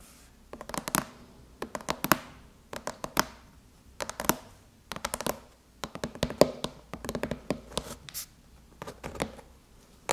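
Long chrome nail tips tap rapidly on the lid of a closed silver aluminum MacBook, making quick clusters of bright, short clicks with small scratchy scrapes between them. The taps come in uneven bursts with brief pauses. Each tap dies away almost at once.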